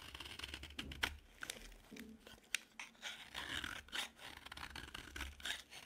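A dry green bar of solid soap is carved and scraped with a metal utility knife blade. Short, dry, crunchy scrapes and sharp cutting clicks come in quick irregular bursts, bright and crisp with little low end, in a quiet setting.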